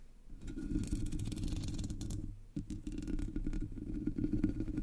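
Long nails scratch the black hollow metal mesh grille of a Blue Yeti microphone, with one hand resting on top. The result is a steady, close, low rumbling scrape with bright raspy flecks. It briefly drops out around the middle before resuming.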